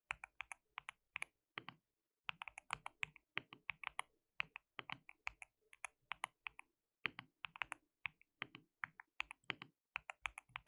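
Fingertips of both hands type continuously on a white mechanical keyboard with plastic keycaps. Rapid, dry, bright clacks come in quick bursts with short pauses, each keystroke snapping off almost instantly with little low end.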